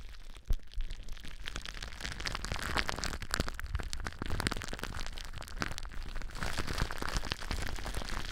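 Long nails scratch and squeeze clear plastic bubble wrap wrapped around a microphone. A steady, close crackling rustle is dense with fast pops and crunches, with one sharp pop near the start and a heavy low rumble underneath.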